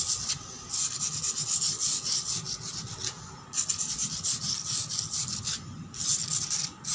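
Long black pointed nails scratch fast and aggressively across a solid, weathered concrete floor. The result is a bright, dry rasping that is almost entirely high-pitched with very little low end. It comes in sustained bursts separated by brief pauses.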